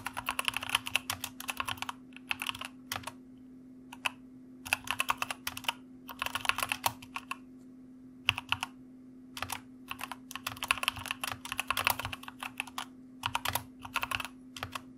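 Fingertips of both hands type on a white mechanical computer keyboard with plastic keycaps, producing bright, crisp clicky keystrokes in quick bursts separated by short pauses. A steady low hum runs underneath throughout.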